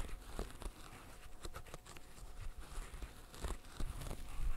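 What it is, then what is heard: Silicone pop-it fidget toy. Gloved fingertips in net gloves rapidly pop the bubbles of a green silicone pop-it fidget toy. A quick, uneven run of soft, dull pops and faint crinkly rustles is heard, each snap brief and dry with a low, muffled body and a few brighter clicks near the end.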